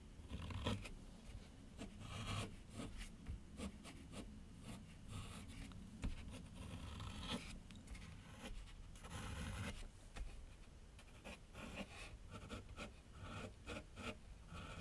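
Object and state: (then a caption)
Pencil drawing on paper sheet. A graphite pencil draws long curved lines across a large flat sheet of white paper on a board on an easel. The strokes come through as a steady run of dry scratching and scraping, with brighter rasping bursts over a low, dull rumble from the board.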